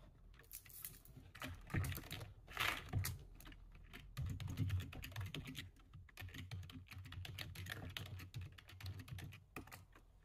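Both hands type with their fingertips on a low-profile plastic computer keyboard. A fast, uneven stream of key taps is heard, with a soft low thud under bright clicks. Louder bursts of typing come and go over a steady patter.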